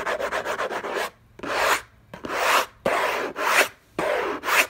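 Fingertips and nails scratch around the logo on the hollow lid of an orange, textured-paper cardboard gift box. A quick run of short, dry scratches gives way to longer, rougher rasping strokes separated by brief silences. The sound is bright and papery, with almost no low end.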